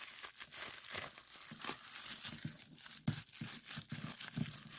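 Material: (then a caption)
Plastic. Clear plastic bubble wrap is rolled and scrunched between both hands, its bubbles squeezed, popped and crinkled. Dense, bright crinkling runs throughout, broken by sharper pops and low, muffled thumps as the wrap is pressed.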